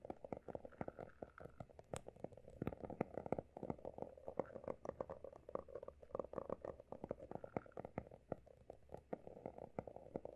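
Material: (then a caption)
Cardboard. Fingertips of both hands quickly tap and scratch the solid, pale blue embossed cover of a closed, textured hardcover notebook. A rapid, dense patter of soft, dry taps with a mid-range body mixes with a faint scratchy rustle, each tap dying away almost instantly. The sound stays quiet and steady throughout.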